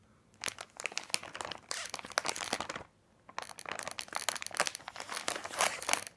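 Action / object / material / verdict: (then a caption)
scrape / plastic bag of wrapped candy / plastic / none. Fingertips of both hands press and rub the surface of a large printed plastic bag of candy corn, full of small wrapped packs, lying flat on a glittery table. Dense, crisp, bright crinkling comes in rapid bursts with almost no low end, stops briefly near the middle, then resumes in a steady run of sharp crackles.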